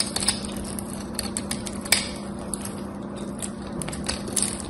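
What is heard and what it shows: A solid cream-colored bar of soap, held in both hands, has its face scraped and carved with a metal craft knife, and dry flakes crumble off. A steady run of crisp, dry scraping and crackling is punctuated by sharp, bright clicks, the loudest near the two-second mark, over a faint, constant low hum.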